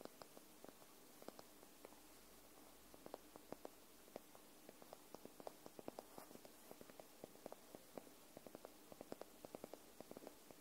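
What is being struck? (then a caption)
Paperback book, paper spine and edge. Long nails tap the paper spine and edge of a paperback book lying on its side, making many quick, dry ticks at an uneven pace. Each tap is short and clicky, centered around 620 Hz with almost no ring. The taps sit quietly over a steady soft hiss.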